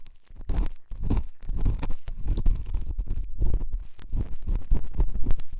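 A pen tip scratches and rubs inside the ear canal of the left white silicone dummy ear on a binaural microphone. This produces a dense, muffled stream of close scratching and rubbing that sounds like a deep, booming rumble, with almost all of its energy in the low end. The sound swells and dips in short bursts without clear pauses.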